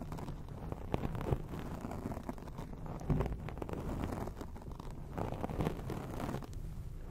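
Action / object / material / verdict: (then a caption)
scrape / foam microphone windscreen / foam / none. Long acrylic nails scratch quickly over a grey foam microphone windscreen. The result is a dense, continuous, muffled rustling rumble, heavy in the low end with little brightness, broken by occasional sharper scrapes and louder swells.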